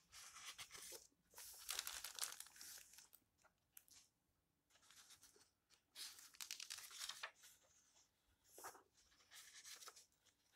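Fingertips with long nails turn the yellowed paper pages of an open old book, then rub a page flat. Quiet, dry bursts of bright rustling and crinkling come in uneven clusters, separated by near-silent gaps.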